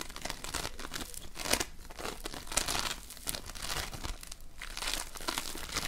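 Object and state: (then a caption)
Polystyrene foam bead slime. Both hands knead a large lump of floam, polystyrene foam beads mixed into slime, pressing it with fingertips and nails. The result is a continuous crunchy squishing, with dense, bright crackling and crinkling pops that swell and fade in uneven bursts.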